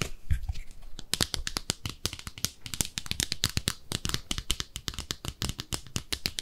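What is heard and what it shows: Long nails scratch and tap a small pink speckled ceramic bathtub-shaped soap dish, first on its underside and then along its side. A soft low rumble in the first second gives way to a quick, steady run of dry, bright clicks and ticks that stop sharply with almost no ring.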